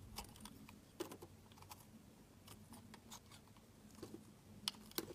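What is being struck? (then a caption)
Bar of soap cut with a metal blade. A metal utility knife blade shaves and scrapes thin slices off the surface of a solid, faceted pink heart-shaped soap held in the hands. Quiet, irregular, crisp scraping ticks and short bright scratches follow one another unevenly over a faint low background hum.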